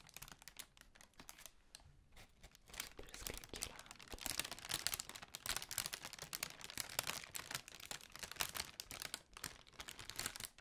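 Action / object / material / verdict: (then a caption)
scrape / tissue paper honeycomb ball / tissue paper / none. Long pink nails scratch and tap along the folded paper cells of a large, hollow, pale pink tissue paper honeycomb ball. The result is a dense stream of quiet, bright, dry crinkling and rapid papery ticks with almost no low end, growing busier and louder after the first few seconds.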